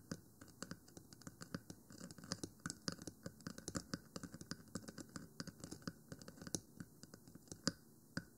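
Long nails on both hands scratch and tap across the top of a 3Dio Free Space binaural microphone, a black rectangular hollow plastic housing with white silicone ears. The result is dozens of quick, sharp, dry clicks with short raspy scratches between them, each dying away almost instantly.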